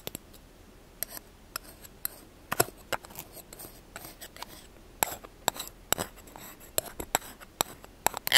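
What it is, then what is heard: Plastic spoon. A small, solid, light-blue plastic spoon is held in the hand while fingertips and short nails tap and scratch its bowl and handle. Quick, bright clicks and taps ring out against soft scratching, with each hit dying away almost at once.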